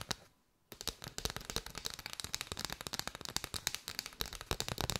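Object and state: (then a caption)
Bundle of paper straws. Long white nails tap and scratch a curved bundle of hollow paper straws held close. After a brief quiet pause near the start, a fast, steady stream of dry, crisp clicks and scratchy rustles follows, bright and papery, each tap dying away almost instantly.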